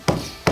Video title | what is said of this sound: ２００年前の古民家の木を生かして床を作る方法 | Questi vecchi legni hanno ancora una buona resistenza. Senti un buon riverbero suona bene, anche se la superficie è completamente danneggiata.